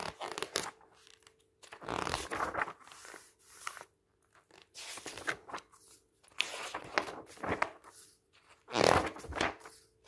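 Bare fingertips turn, squeeze and rub the pages of a thin glossy paper magazine, "the Art of Beauty," lying flat on a table. Bursts of crisp crinkling and rustling come and go with short quiet gaps between them, and the loudest crunch comes near the end. A faint steady hum sits underneath.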